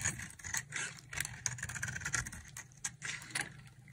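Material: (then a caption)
Soap. A palm-sized, solid oval bar of white dry soap is held in the hand and shaved into flakes with a utility knife blade. Repeated dry, bright scraping strokes overlap in a steady run, with a faint low hum beneath.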